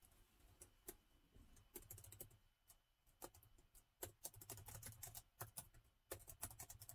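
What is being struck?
Plastic laptop keyboard keys.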